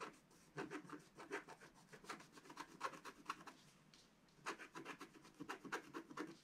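A pointed wooden stick scratches lines into the coating of a flat, black-coated scratch-art sheet lying on a table, near the top of the design. Quiet, dry, raspy scraping strokes come in quick bursts with a brief pause partway through. Each scratch has a bright, papery texture and stops without ringing.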